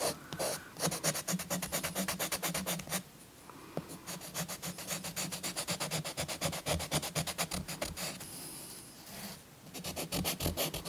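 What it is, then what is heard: Chalk scraped on paper. A thick green chalk stick is scratched and rubbed across a paper coloring book page resting on a soft cloth. It makes rapid, dry, bright scratching strokes in quick back-and-forth bursts, with short quieter pauses near 3 to 4 seconds and 9 seconds before the rubbing resumes.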